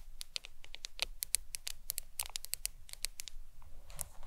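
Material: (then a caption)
Glass. Long acrylic nails tap and scratch the glass screen of a black smartphone lying flat on a towel. The result is a quick run of sharp, bright clicks with tiny scratchy strokes between them, each dying away almost instantly over a soft low background.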